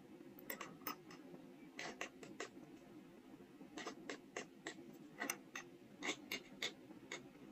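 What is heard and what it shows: A steel carving-knife tip scratches grooves into the face of a small, solid, square soft stone seal block held in the fingers, leaving visible stone dust. Quiet, dry, bright scraping strokes come in short bursts with very little low end and almost no ring.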